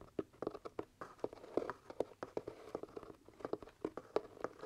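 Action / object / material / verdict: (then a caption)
tap / leather top hat / leather / none. Fingertips and nails tap and scratch the leather crown of a hollow, empty black leather top hat. The result is a quick run of soft, dry, hollow taps with a muted tone around 420 Hz, mixed with light scratching. Each tap dies away almost at once, with little bass and no high ring.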